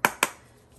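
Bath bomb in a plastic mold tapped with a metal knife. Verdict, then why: Hollow. A heavy butter knife taps twice on a bath bomb mold holding a bath bomb, giving two short, sharp, hollow knocks with a clear ring near 990 Hz and a bright top that fade within a fraction of a second. The hollow sound shows the bath bomb is about to come loose from the mold.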